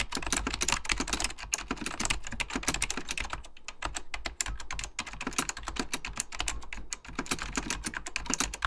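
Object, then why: Plastic computer keyboard. Fingertips of both hands type rapidly on a full-size beige plastic Apple Extended Keyboard II with mechanical key switches, lit in purple. A dense, continuous stream of sharp, bright clicks and clacks with very short decay plays over a steady low hum. The typing eases briefly around the middle before picking back up.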